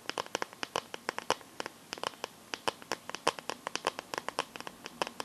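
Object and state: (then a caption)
Plastic phone case tapped with fingernails. Long nails tap and scratch the back and edges of a smartphone in a clear plastic case filled with liquid glitter. About 34 quick, dry clicks come in an uneven stream, each ringing around 1 kHz with a bright edge and almost no low end. Soft scratching sits between the taps, and every click dies away at once.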